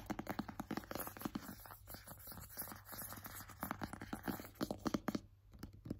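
A small, rigid, hollow white cardboard AirPods box is held in the hands and tapped and scratched with painted fingernails and fingertips. Quiet, dry clicks and scratchy rasps follow in quick irregular bursts over a faint low hum, each tap dying almost instantly.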